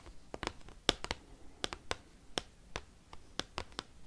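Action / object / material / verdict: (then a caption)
tap / large glossy cardstock card tapped with metal paperclips / cardstock / none. Metal paperclips worn on the fingertips tap and scratch a giant, thin, glossy cardstock Pokemon trading card. About a dozen sharp, bright clicks fall at an uneven pace, each dying away almost instantly, with soft scratchy rustling in between.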